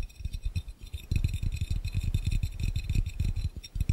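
Fingertips and nails of both hands tap fast on an empty, hollow, clear round glass fishbowl. The taps come as a rapid, uneven stream of soft, deep, hollow thumps with very short ring, over a faint steady high hiss.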